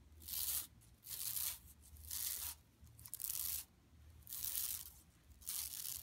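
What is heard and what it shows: Long nails scratch across an empty, flat yellow woven plastic mesh tote bag lying on carpet. Six separate strokes of bright, hissy, papery scraping come at a slow, uneven pace, with quiet gaps between them and a faint low hum underneath.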